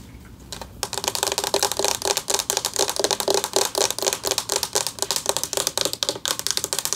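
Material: Metal.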